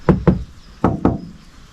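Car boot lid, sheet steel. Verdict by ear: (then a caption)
Unpadded. Four quick knocks in two pairs land on the bare sheet-metal boot lid of a Subaru WRX STI RA-R, each a short, hollow knock that dies away almost at once. The lid sounds very light, like plain metal, because it has no sound-deadening padding as part of the car's weight-saving design, so it sounds different from a padded panel.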